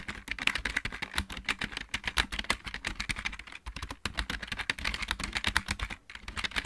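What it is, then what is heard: Plastic mechanical keyboard. Fingertips of both hands type quickly on a backlit plastic computer keyboard with mechanical keys. The result is a dense run of sharp, bright clicks with short low thuds beneath them, and each keystroke stops almost at once. The typing pauses briefly twice before carrying on.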